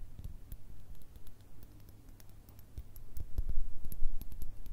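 Long red nails tap quickly and irregularly on a small clear glass jar holding small pink paper or stick items, which can shift inside. The taps are soft and short, with a low, thuddy body, bright clicky tips, and almost no ring. They grow louder and denser in the second half.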